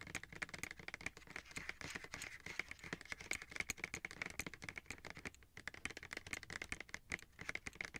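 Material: Plastic.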